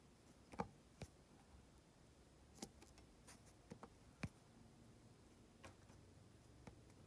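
A drill pen with a metal tip taps small solid resin diamond painting drills into place on an adhesive canvas, giving light, short clicks. The clicks come at scattered, irregular intervals over a quiet, low background hum, each dying away almost at once.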